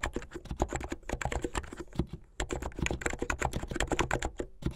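Fingertips with long painted nails type fast on a full-size plastic mechanical keyboard with white and blue hollow plastic keycaps on switches and a blue backlit case. A rapid, continuous stream of short, deep clacks with bright clicky tops pauses briefly just past the two-second mark before resuming.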